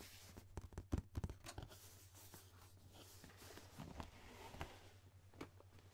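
Fingertips and nails tap and scratch the printed sides of a hollow, medium rectangular cardboard gift box with a geometric triangle print and a tan lid, held close to the microphone. Soft, dull taps cluster near the start, followed by quieter, dry scratching and a few more scattered taps, all over a steady low hum.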